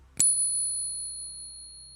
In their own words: Can you guys hear that pinging real silver? That's a real silver ping.